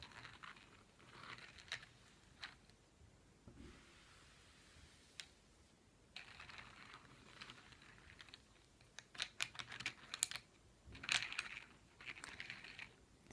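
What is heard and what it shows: About ten solid, yellow-painted wooden pencils with eraser tips lie on a fleece blanket while fingertips and palms press and roll them so they click against each other. Quiet, bright, dry clicks and soft rustling come in irregular bursts, with a few sharper clusters of taps toward the end, each stopping almost instantly.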